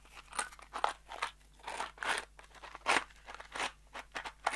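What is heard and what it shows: A small kraft cardboard box holding screws is turned in both hands and shaken. It makes repeated short, dry, crunchy rattles, with bright scraping bursts and quiet gaps between them.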